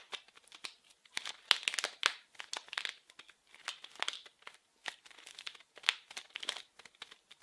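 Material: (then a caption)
Plastic film. A small, blue, printed package wrapped in plastic film is crinkled and scratched with fingers. The result is a quiet, irregular run of bright, crackly crinkling bursts with sharp snaps. There is almost no low end, and a papery rustle clusters around 3 kHz.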